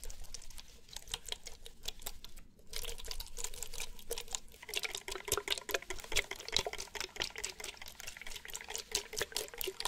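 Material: Plastic.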